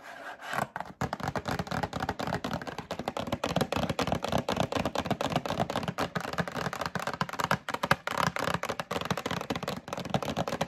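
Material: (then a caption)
Cardboard. Long acrylic nails tap and rub the front and side of a medium printed cardboard Breakfast Essentials box held in hand. The result is a fast, continuous run of dry, hollow taps mixed with scratchy rubbing, each tap dying away almost instantly.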